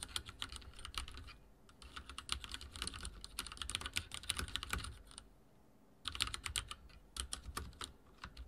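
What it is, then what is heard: Mechanical keyboard with plastic keycaps. Fingertips type on a backlit mechanical keyboard with dark plastic keycaps and a silver frame. Rapid, bright, clicky keystrokes come in bursts with short pauses between them. A low background rumble sits underneath.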